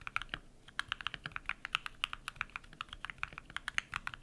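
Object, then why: Mechanical keyboard with PBT plastic keycaps. Bare fingertips type rapid key presses on a compact modded mechanical keyboard with white PBT plastic keycaps and lubed switches. Each keystroke is a short, crisp clack centered around 2 kHz with a bright edge and very little low end. The presses die away instantly with no ring, forming a quick, uneven typing rhythm.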